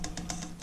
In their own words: It's thin brass. You can tell. You can hear it when I tap on it. Very thin.